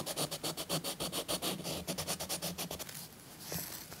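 A thick green chalk stick is scratched and rubbed over a paper coloring book page resting on a soft cloth. It makes a quick run of short, dry, bright scratchy strokes for about three seconds, then trails into a softer, quieter rub with one last faint stroke near the end.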